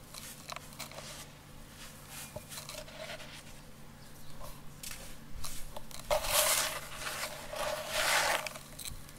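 Two hands scoop, rub and crumble dry yellow sand and small clumps inside a round container, letting grains fall between the fingers. Soft gritty scraping and crunching build to louder, bright rustling bursts toward the end over a faint low hum.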